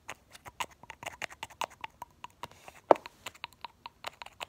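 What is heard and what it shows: The fingertips of one hand pump the white plastic cap and brush in and out of the neck of a small, partly full, light blue Essie glass nail polish bottle held in the other hand. This produces a quick, uneven run of about twenty short, dry clicks and soft pops with a hollow mid tone. One sharper, louder pop comes near the three-second mark.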